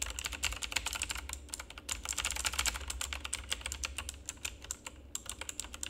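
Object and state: Plastic mechanical keyboard being typed on.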